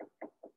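Knocks on an artificial diorama tree trunk made to look like a real tree, giving three short, hollow, mid-pitched thuds with a quick decay. The trunk is hollow inside rather than a real tree.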